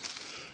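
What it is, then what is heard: Dry twig that snaps cleanly. A dead, dry wooden twig taken from up off the ground, away from the damp soil, is snapped by hand as kindling. It gives a sharp, bright crack with crackling texture, mostly high-pitched. It cracks well, showing it is dry enough to start a fire.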